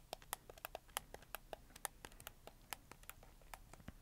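A black, hollow, hard-plastic PlayStation 4 controller is held in both hands while fingertips rapidly click its face buttons and thumbsticks. About 25 short, sharp plastic clicks tick out at an irregular pace, each dying away almost instantly. The clicks have a bright, hollow tone centered near 820 Hz over a quiet background.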